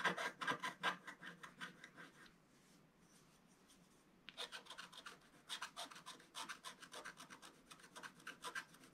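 A wooden stylus scratches quickly near the bottom edge of a solid, flat, black-coated scratch art page about A4 in size. Rapid, dry, rasping strokes come in a fast, uneven rhythm, then a quiet pause of about two seconds before the quick scratching resumes. The strokes sound bright and papery, with almost no low end.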